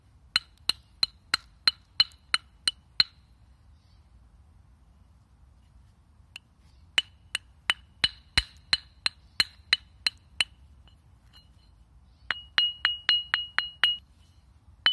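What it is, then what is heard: Ringing limestone slab. A thin, flat, solid limestone slab about hand-to-forearm length, held loosely in the air in one hand as a lithophone, is struck repeatedly by the other hand. It gives 29 bright, ringing clinks with a high tone and very short decay. They come in a steady run of taps, a pause, a second run, then a quicker flurry and a final tap.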